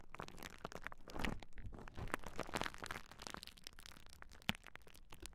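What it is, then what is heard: Plastic bubble wrap sheet. A large clear plastic bubble wrap sheet held across the microphones is pressed, scratched and popped by hands. A dense, quiet run of crinkling and crackling follows, scattered with short, sharp pops and brief louder bursts. One distinctly louder pop stands out near the end.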